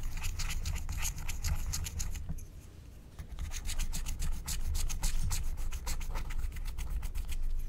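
A wooden stylus rubs and scrapes away the coating over an area of a flat, thin, black wax-coated paper scratch-art card. Quick, uneven scratching strokes give bright, crackly rasps over a steady low rumble, with a quieter lull about two seconds in before the scraping picks back up.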